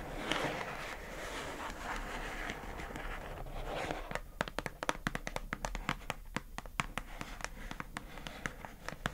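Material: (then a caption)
Plastic. Long acrylic nails scratch across the lid of a pink hollow plastic food container, making a broad, hissy rasp for about four seconds. The nails then switch to quick tapping, producing a run of sharp, bright clicks on the plastic.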